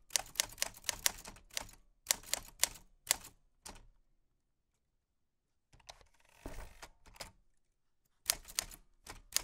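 White-gloved fingertips type on a black 1940s Smith-Corona portable typewriter with a metal body, round keys and paper loaded. Quick bursts of bright, sharp key clicks and typebar strikes are broken by a silent pause and then a softer, rougher mechanical passage. The typing resumes with more crisp strikes at the end.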